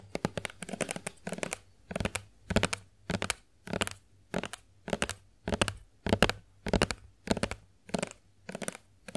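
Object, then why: Plastic lotion bottle. A Johnson's plastic body milk lotion bottle, held sideways, is tapped with long acrylic nails. Quick, dry clicking taps come in short bursts with brief pauses between them and a steady low hum underneath.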